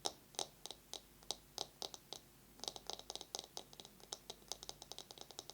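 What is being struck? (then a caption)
Bamboo massage brush. A bamboo massage brush is tapped fast with long nails and scratched. About 29 sharp, bright, dry clicks follow one another, each dying away almost at once, coming slowly at first and then speeding into quicker runs toward the end.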